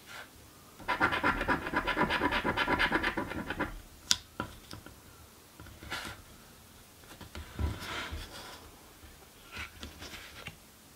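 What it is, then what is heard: Scratch lottery ticket being scratched. A coin scratches the coating off a "Mystic Riches" paper scratch lottery ticket in a long, dense burst of bright, gritty rasping, followed by a sharp click. Shorter, softer scratches and rustles follow as the card is handled at the end.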